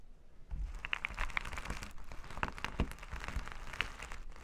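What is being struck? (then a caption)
Plastic sequin fabric. Flat, reversible plastic sequin fabric is rubbed and scratched with plastic finger-massager tools held in both hands. The result is a dense, continuous crinkling, scratchy texture with quick clicky ticks and bright, glittery highs over a low rumbling bed.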